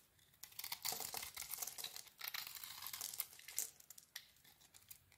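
A small metal blade shaves a solid mint-green soap bar with a cream core, peeling off thick flakes. The sound is a quiet, bright, crisp scraping and crackling that comes in uneven bursts of strokes, with almost no low end.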